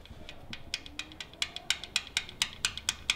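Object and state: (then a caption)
Loose, failed engine rocker arm. A failed, loose metal rocker arm on a 3.6-litre Jeep Wrangler or Dodge engine is wiggled with just a fingertip, giving a rapid series of sharp, bright metallic ticks and rattles. The clicks come at an uneven pace, with very short ring, confirming the rocker is dead and needs replacing.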